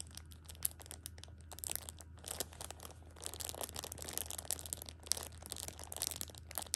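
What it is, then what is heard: Plastic-wrapped tissue pack, crinkling. A Shopkins pocket tissue six-pack in its plastic film wrap is held and squeezed at the edge by a hand with long pink nails. It gives a steady run of dense, bright crinkling and crackling with sharp snaps, over a low steady hum.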